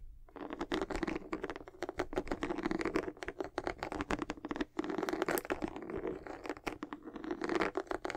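Long acrylic nails scratch and tap rapidly across the solid, textured white rubber outsole of a high-top sneaker held in both hands. The sound is a dense, continuous run of fine scratchy clicks with a hollow mid-range tone, bright crisp edges and brief pauses between bursts.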